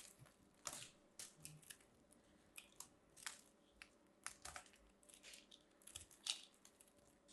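A long-nailed hand carves and scrapes a small pink ball of compressed soap shavings, solid and crumbly and held in one hand, with a small metal craft knife, cutting off crunchy flakes. About fifteen short, dry, bright crunching scrapes come quietly and unevenly, each stopping at once with no ring.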